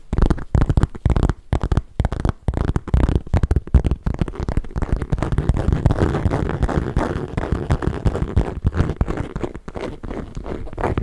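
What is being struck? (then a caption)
Small leather handbag. A small, hollow black bag of smooth leather with metal studs at its base is held up and tapped and scratched with long nails. Quick, dull, low-pitched taps come first, then give way to a steadier, continuous scratching rustle that stays deep and muffled with almost no bright edge.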